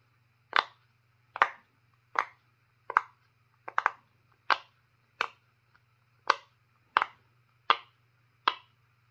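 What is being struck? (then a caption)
Silicone pop-it fidget toy. Fingertips press and pop the hollow bubble domes of a purple, square, roughly hand-sized silicone pop-it fidget toy one by one while the other hand holds it, with other untouched pop-its lying on the wooden table. Fourteen short, dry, snappy pops land at irregular intervals, some in quick pairs, each with a bright crack that dies away almost instantly. A faint steady low hum runs underneath.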